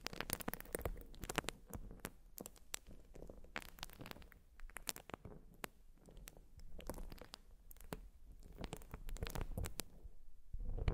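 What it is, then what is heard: Urethane foam sponge. Long nails scratch and squish a white urethane foam sponge, making quiet, dense crackling scratches with sharp bright clicks over a soft, muffled low squishing. The sound comes in irregular bursts and fades briefly in places.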